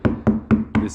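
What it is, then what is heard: Insulated, damped car roof panel. Knocking on the steel roof panel of a 1961 VW Beetle where it is lined with half-inch jute ceiling insulation gives five dull, deadened knocks with a low tone around 220 Hz and very little ring. The insulated section sounds good compared with the ringing bare area of the roof.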